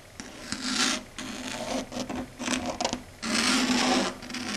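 Long red acrylic nails rub and scratch across a flat dark grey chalkboard surface. Broad, bright scratching swells in long strokes, separated by quieter gaps, with a faint low tone running under the louder passes.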